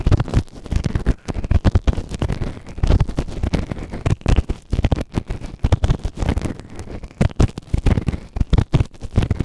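A white plastic ear tool held in the fingertips scrapes inside the ear canal of a grey silicone ear-shaped microphone, which is soft and solid and sits on a round base. Rapid, irregular scratching bursts come through as deep, muffled rumbling thuds close to the mic, with almost no high or bright content.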